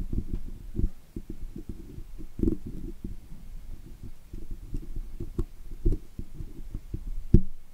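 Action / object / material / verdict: scrape / woven steel wire microphone grille / steel wire / none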